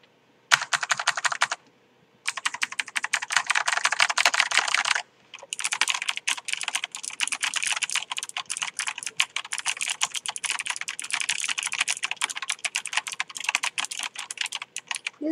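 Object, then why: Mechanical keyboard with plastic keycaps. Fingertips of both hands type rapidly on a Tree Frog full-size backlit mechanical gaming keyboard with plastic keycaps and purple lighting, with some taps on the upper key rows. Dense runs of crisp, bright, clacky keystrokes with almost no low end are broken by brief pauses near 1.6 s and 5 s before the fast typing resumes to the end.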